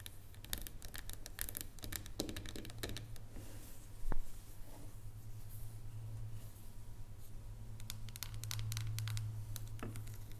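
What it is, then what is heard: Dark chocolate bar. Long nails tap quickly on the square segments of a solid dark chocolate bar lying flat on a wooden table, making a run of light, dry, bright clicks that die away almost instantly. One louder tap stands out partway through, and a steady low hum runs underneath the whole time.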